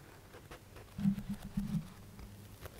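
A thick paperback book with a paper cover is held sideways while fingertips and nails scratch the stacked page edges and tap the spine area. Soft, muffled, low-pitched scraping and tapping rise in the middle of the clip, then fade back into a quiet background.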